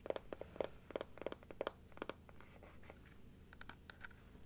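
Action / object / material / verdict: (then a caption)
tap / plastic dental teeth model / plastic / none. Long nails scratch and tap the teeth and inner palate of a large plastic dental model held open sideways. A quick, irregular run of sharp clicky taps rings with a hollow plastic tone around 560 Hz. Softer scratching follows, broken by a few lighter, brighter ticks.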